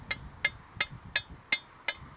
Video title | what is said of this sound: Let’s Go Flying! Super Stinson 108-1 Franklin 220 [Turn On Subtitles] | if there's a crack in the prop it won't ring like that